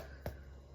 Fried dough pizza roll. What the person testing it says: if it sounds hollow, then it's done